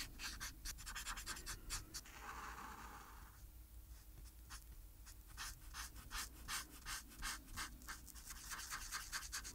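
A felt-tip alcohol marker, held in the hand, rubs and scratches in short back-and-forth strokes across a thin white paper coloring page of SpongeBob lying flat on a table. The result is a quiet, uneven run of bright, dry scratching strokes with a low steady hum beneath them. Around the two-to-three-second mark there is a smoother, continuous rubbing stretch.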